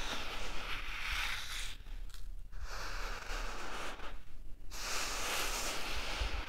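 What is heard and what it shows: A hand scoops and rubs loose grains in a flat bed of fine, light-colored dry sand, letting the sand trickle and pour back onto the surface. The sound is a steady, bright, grainy hiss over a low rumble, with two brief quieter lulls where the pouring eases before the rustling swells again.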